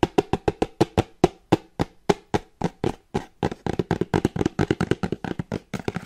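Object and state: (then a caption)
Cardboard box. Long painted nails tap the top and sides of a small plain brown kraft cardboard box with a barcode label, held in one hand. Dry, hollow taps with a low-mid knock and almost no ring come at an even pace at first, then quicken into denser, overlapping clusters.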